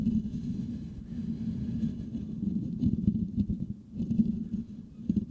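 Fingertips of both hands scratch the hollow metal mesh grille on a Blue Yeti microphone. The result is a dense, continuous low rumbling scrape centered around 200 Hz, with a faint bright hiss above it. It swells and dips in uneven bursts throughout.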